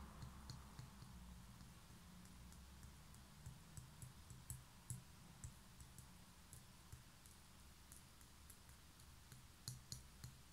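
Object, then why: Small concrete pen holder. Long nails tap the rough outer surface of a small, hollow grey concrete pen holder held on its side. Twelve short, dry, bright clicks are spread across the clip. Each dies away almost instantly over a steady low hum.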